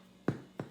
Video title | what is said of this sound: Fast Sourdough Bread recipe Part 2 of 2 | right now he's kind of hard and he should sound hollow which means he's cooked all the way